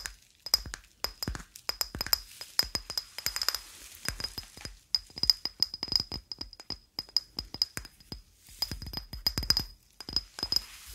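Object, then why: Small ceramic cup. A small, white, hollow and apparently empty ceramic cup, held in one hand, is tapped with the fingernails of the other. The result is a rapid, irregular stream of dry, bright clinks with a high tone, each dying away almost instantly, grouped in quick bursts with short pauses between them.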